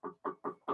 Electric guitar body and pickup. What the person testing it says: tap the body i don't know if you can hear that that's totally coming through the amp